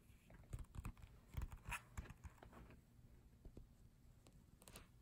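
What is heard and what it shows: Fingertips tap quickly on the glossy paper pages of a photobook, close up. A quick, irregular run of soft, dull taps, mostly low thumps with a faint papery crinkle on top, each dying away almost at once. The taps are quiet and uneven in spacing, with a few louder ones in the first two seconds.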